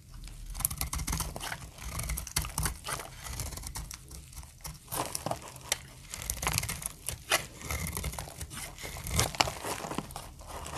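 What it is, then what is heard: Dry soap bar being shaved. A utility-knife blade slices dry flakes off a solid, translucent amber soap bar held in the hand, and the flakes fall onto a pile of shavings. It makes a steady run of crisp, crinkly scraping and crunching cuts with bright, papery edges over a low, dull rumble.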